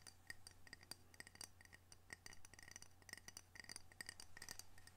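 A ceramic coaster from Camano Island, Washington, decorated with orcas, is tapped and scratched with many quick, light strikes. Each tap gives a short, bright clink with a brief ringing tone near 1.9 kHz, between soft scratching, over a steady low hum.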